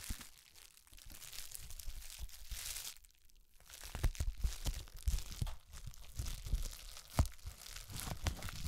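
A thin, flexible, hand-sized sheet of hollow air-bubble plastic wrap is held in front of a microphone and crinkled, squeezed and rubbed with the fingertips of both hands, first bunched up and then spread flat. Soft, close crinkling and crunching fills the clip with bright hiss and low handling thumps, pausing briefly near three seconds before sharper crunches return.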